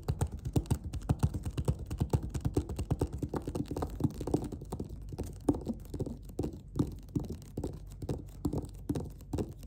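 Long-ish nails and fingertips tap and scratch along the stitched edge of a closed, hollow black leatherette (faux-leather) clarinet case. A rapid, irregular stream of soft, dull, low thuds follows, with faint scratching between them. Each tap dies away almost instantly, with no bright ring.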